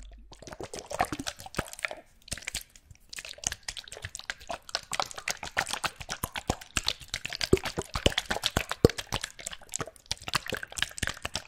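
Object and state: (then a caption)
Small bottles with liquid inside. Small bottles containing liquid are shaken close to a microphone, producing rapid, dense sloshing, dripping and plopping sounds with short, bright clicks. A brief lull near two to three seconds interrupts the shaking before it resumes steadily until the end.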